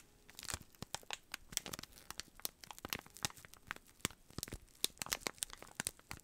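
A small rectangular brown cardboard box sealed in clear plastic cellophane is held in both hands while fingertips press and rub the wrap to crinkle it. The result is a quiet, steady stream of sharp, bright crinkles and crackles with very short decay and little low end.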